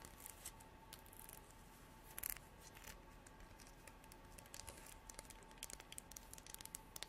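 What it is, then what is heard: Horn comb. Long artificial nails strum and scratch the fine teeth of a translucent amber comb, probably horn, held in both hands. Quiet, bright, clicking scratches come in scattered bursts over a soft hiss, with a louder cluster of strums near the middle and a busier run of quick ticks toward the end.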